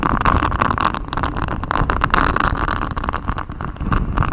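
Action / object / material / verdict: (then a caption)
scrape / textured silicone microphone cover / silicone / none. Fingers in black knit gloves scratch a flexible grey, rubbery silicone honeycomb-textured mic cover, a hexagon-patterned sheet wrapped around the microphone. The result is a dense, continuous scratching and rubbing with a heavy low rumble and a steady midrange hum near 1 kHz, staying loud throughout.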